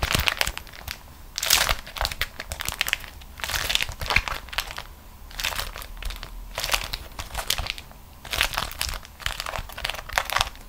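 A beeswax-coated cotton food wrap is squeezed into a crumpled ball by fingertips and long nails, resting on another wrap of the same material. Repeated bursts of bright, crinkly, crackly crushing rise and fall, with quieter crinkling between them.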